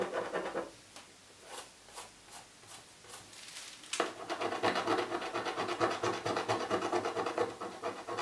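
A coin scrapes the remaining scratch-off film on the lid of a hollow cardboard box with fast back-and-forth strokes. A short burst of scratching gives way to a few separate, softer strokes. Then it turns into steady, louder, rapid rasping with a dry, bright, papery texture.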